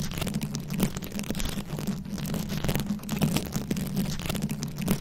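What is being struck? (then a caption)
Microphone head covered in plastic rhinestones and beads. Very long acrylic nails scratch a round, fist-sized microphone head covered in plastic rhinestones and beads. The result is a steady, dense crackling scrape with a strong low, humming body around 160 Hz and faint bright clicks on top, with no pauses.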